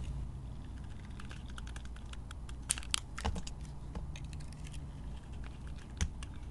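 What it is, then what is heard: Glitter-coated soap bar being carved. A metal utility blade scrapes and carves thin slices off the surface of a hand-sized solid white soap bar coated in green glitter, held in a hand with long painted nails. Quick, crisp, bright scraping ticks repeat over a steady low hum, with a few louder sharp cuts standing out.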